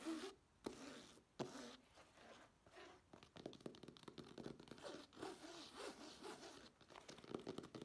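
Long nails scratch along the surface and edges of a black fabric clutch bag held up in the air. The result is a quiet, dry, rasping scrape, broken by a few sharp bursts and then a denser run of quick scratchy strokes.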